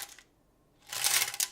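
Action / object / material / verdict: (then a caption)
shake / coins inside a bottle case / metal coins / full. A Baileys bottle case used as a piggy bank and full of coins is shaken. A faint brief rustle is followed by near silence, then a loud, bright rattle of coins jingling inside the case.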